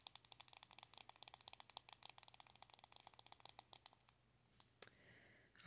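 Long acrylic nails rapidly tap the lid of a small, round, closed blush compact made of metallic plastic with a glossy metallic finish, producing about 28 crisp, bright clicks over the first four seconds. The tapping then thins to a few scattered clicks and a soft brushing hiss, ending with a louder knock.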